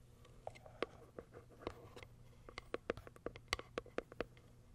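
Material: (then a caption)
Cardboard. Long white nails tap and scratch the top of a small pale pink cardboard box. About thirteen short, dry clicks with a hollow, bright edge stand out over a soft scratching hiss and a faint low hum, and each one dies away almost at once.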